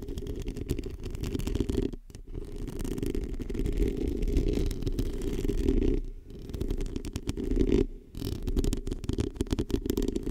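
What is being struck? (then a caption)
Foam microphone windscreen. Long painted acrylic nails on both hands scratch a small, hollow, black foam or mesh-covered microphone windscreen. The result is a dense, continuous rustling scratch, heavy in the low and low-mid range with a muffled rumbling quality. It pauses briefly around 2, 6 and 8 seconds before resuming.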